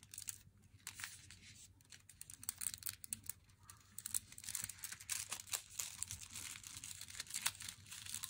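Long nails tap and scratch the front and corner of an unopened Meiji Black Chocolate glossy flat cardboard box while it is held. Quiet, bright, crisp scratches and quick dry taps crackle over a faint low hum, each sound dying away almost at once.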